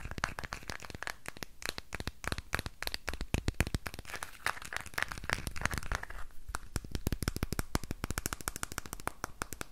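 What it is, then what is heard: Painted wooden box. Fingernails and fingertips tap and scratch quickly over a small, hollow, red-painted wooden box with a decorated lid. The result is a dense stream of dry, crackly clicks and scrapes, each with a soft, hollow low thump under a bright tick, dying away at once with no ring.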